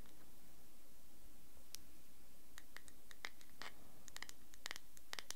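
Fingertips and nails scratch and tap a small, thick-walled clear glass cosmetic cream jar with a shiny gold screw lid, held in one hand close to the recorder, its contents not clearly visible. Quiet, scattered bright clicks and scratchy taps with a glassy ring near 2 kHz sound over a low, steady rumble, growing denser toward the end.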